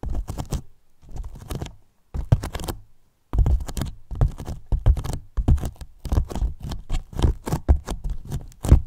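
Fingertips tap and scratch the top and sides of a large, hollow, white polyethylene foam box. Quick bursts of dull, low thumps mix with soft scratching, broken by brief pauses early on. Each tap dies away almost at once, leaving a muffled, hollow patter with no ring.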